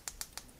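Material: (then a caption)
Plastic. Four sharp, bright plastic clicks as a pair of cheap fake earphones bundled with an HDC clone iPhone is shaken. The earphones are very light, fragile plastic, and loose parts inside rattle around the volume up/down buttons, marking them as faulty knockoffs unlike the originals.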